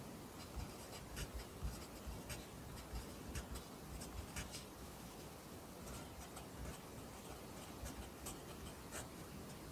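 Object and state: Pencil writing on a paper notebook.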